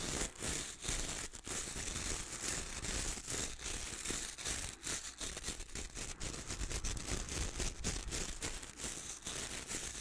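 A wooden-handled hair brush with dark bristles is held upright close by while fingertips scratch and strum across the bristles. The result is a dense, bright, crackly scratching with rapid flicking strokes over a steady low rumble, continuing throughout at a fairly even level.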